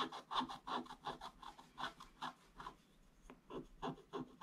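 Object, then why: Scratch-art paper board scratched with a wooden stick. A wooden stick scratches fast strokes across a flat, solid, black-coated scratch-art paper board. The result is a quick, somewhat uneven run of dry, raspy scrapes, each a short burst with a papery mid tone and a bright hiss, with a brief pause in the middle of the run.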